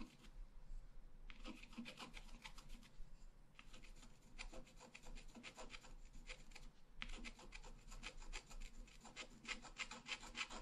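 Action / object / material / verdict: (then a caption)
scrape / black-coated scratch-art paper card scratched with a wooden stylus / coated paper / none. A pointed wooden stylus, held near-horizontal, scratches a flat black-coated scratch-art paper card lying solidly on a table. Quick, dry, rasping strokes come in bursts separated by short pauses, bright and papery over a faint low background hum.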